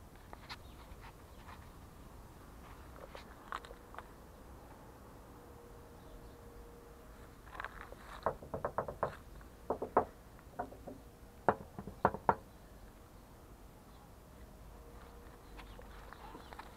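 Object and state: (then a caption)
Steel car hood. Fingertips tap on the large, hollow, painted steel hood of an abandoned, dusty black 1984 Ford Tempo LX. Sparse, soft taps give way to a denser run of short, dull knocks in the middle, with mid-pitched thuds that stop at once without ringing. A faint steady hum sits underneath.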